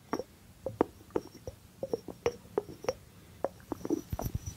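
Fingertips tap the cork lid and the body of a small, hollow white ceramic jar with a blue rim while it is held. About fifteen short, dry taps land at an uneven pace, each with a hollow mid-pitched knock that dies away almost instantly. The taps are quiet and close, over a faint, steady background.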